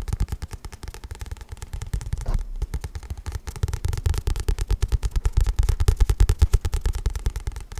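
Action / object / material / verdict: tap / paperback book with card cover / paper / none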